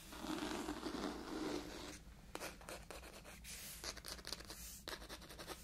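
Long white acrylic nails scratch and tap the textured cloth front cover of a mustard-yellow "Sweet Danger" hardcover book with stiff boards, held upright in one hand. A steady, dense scratching rasp fills the first two seconds, then gives way to quieter, irregular bursts of short, bright scrapes and taps.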